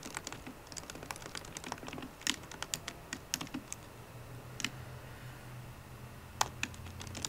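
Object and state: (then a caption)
Laptop keyboard, typing. Fingertips and painted nails of both hands tap the black plastic keys of a solid 13-inch silver aluminium MacBook Pro. The result is a quick, irregular run of short, bright clicks, some louder and sharper than others, with brief pauses. A faint steady low hum sits underneath in the second half.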